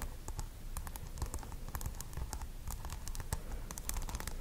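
Long acrylic nails rapidly tap and scratch the hard plastic pearl beads glued over green tape on a small microphone that also has a white wool tuft. The result is a steady flurry of sharp, bright clicks and scratchy taps over a low, close rumble.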